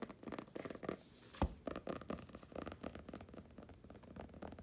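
Long painted nails and fingertips scratch and rub across a closed purple cloth-covered hardcover journal with gold lettering, lying flat on a blanket. The result is a quiet run of soft, dry scratching and brushing strokes with a low rumble underneath, and one sharper knock partway through.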